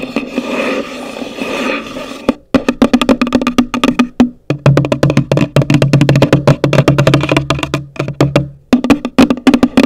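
Long nails scratch across the top of a hollow, pale green cardboard gift box for about two seconds, then tap it in quick, uneven bursts. The taps are short, dry and hollow, with a low woody knock and little ring.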